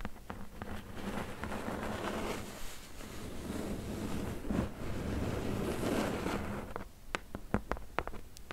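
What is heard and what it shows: Long fingernails tap the top edge of a closed, hollow corrugated cardboard box and then drum rapidly with several fingers across its top. The result is a dense, low, hollow patter with a faint resonant hum, and a few sharper, separate clicks stand out near the end.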